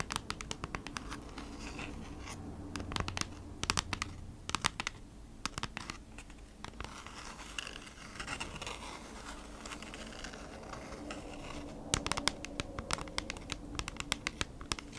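Long nails scratch and tap the back of a flat kraft-cardboard product package in quick strokes. The result is a dry, bright scratching with many sharp clicking taps, denser at the start and end, over a faint low hum.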